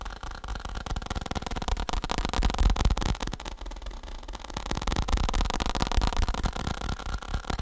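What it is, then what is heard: Faux leather saddle. Fingertips tap rapidly on a faux (fake) leather saddle, producing a dense, steady stream of soft, dull thumps with little ring. The sound is mostly low and muffled, with only slight brightness on top.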